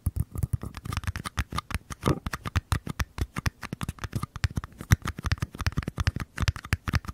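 Two identical small paper cups are held sideways beside the microphones while fingernails scratch and tap their curved paper side walls. The result is a rapid, steady run of short, dry taps and scratches with a soft, low, hollow thump and almost no ring.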